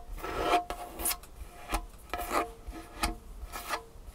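Long painted fingernails tap and scratch the surface of a large, solid, dark wood tabletop, with the hands briefly lifted between strokes. The result is a series of short, dry, rasping scratches and taps with bright edges and a faint tonal ring around 700 Hz, separated by quiet gaps.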